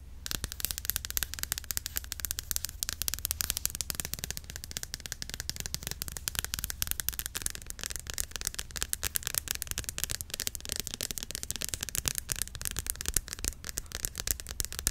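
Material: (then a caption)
Plastic. A white plastic Cantu hair cream bottle filled with cream is held upright and then sideways while long nails tap on it rapidly. The result is a fast, continuous stream of short, dry, bright clicks with almost no ring, over a steady low hum.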